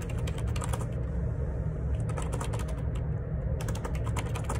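Fingertips type in rapid, repeated key presses on a black plastic Perixx Periboard 612 wireless Bluetooth dual ergonomic split keyboard, with a hollow housing and plastic keycaps, resting on a desk. Bright, clicky taps patter steadily over a constant low rumble. The clatter thins briefly twice before resuming at full pace.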